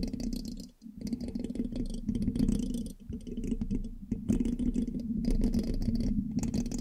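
A thin metal pin held in the fingertips scratches and taps the hollow black metal mesh grille of a large USB microphone. Dense, rapid scratchy clicks and rattling taps ride over a steady low resonant tone near 227 Hz, with brief dips just before 1, 3 and 4 seconds.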